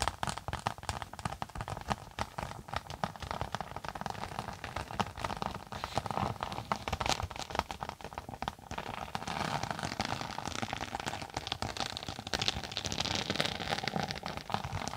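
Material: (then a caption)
Synthetic fabric. Long nails tap and scratch a thin closed tablet case with a textured floral synthetic cover, held edge-on above the mic. The result is a dense, continuous crackle of quick dry taps and rough scratching with a broad, slightly bright texture and no ringing.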